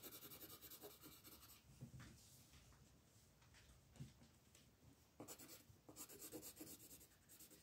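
A wooden colored pencil, held in the hand, rubs and scratches across the flat printed paper page of a coloring book lying on a wooden table. The other hand, with long red nails, holds the page. Quiet, dry scratching strokes with a bright papery hiss come in dense bursts at the start and again toward the end, with softer, sparser rubbing in between.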